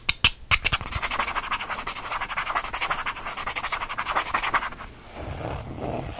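A small purple faux leather change purse, held in the palm, is scratched and rubbed with a fingertip and nails. A few sharp, bright strokes open into a fast, steady run of raspy scratching. Near the end it eases into a softer, duller rub.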